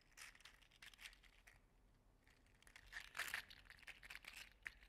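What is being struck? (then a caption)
Articulated plastic slug toy. An orange and gold segmented PLA 3D-printed articulated slug toy is squeezed and flexed by hand, so its plastic segments clack together. The result is a quiet, bright, crinkly clatter of rapid dry clicks in uneven bursts, with a brief lull near the middle and the densest, loudest rattle around three seconds in.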